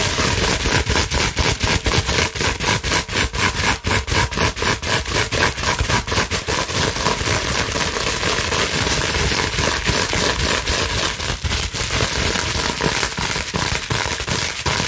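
Long nails scratch quickly across the bubbles of a clear, slightly bent plastic bubble wrap sheet. The result is a dense, fast run of dry crinkling and scraping strokes with a bright, crackly texture that continues steadily throughout.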